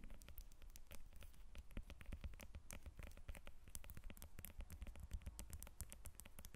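A whole yellow lemon resting on a glass table has its peel scratched and tapped with long red nails. The result is a quiet, steady stream of rapid, short, dry clicks and crackly scratches over a low, dull thump.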